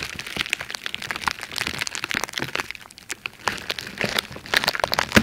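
A crumpled sheet of red plastic bubble wrap is held close to the mic and squeezed and scratched with long red-painted nails and fingertips. Dense, bright crackles and sharp little pops come in quick bursts, each dying away almost instantly, with the louder pops clustering near the end.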